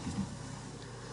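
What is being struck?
Nothing is struck.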